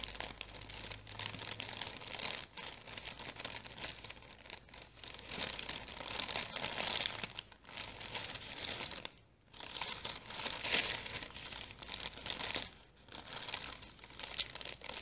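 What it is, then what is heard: Tissue paper package being crinkled. An orange tissue paper package is held in both hands while long nails scratch and squeeze it, making it crinkle. The clip is a steady, bright crinkling and rustling that runs almost continuously for fifteen seconds, with only brief near-silent gaps.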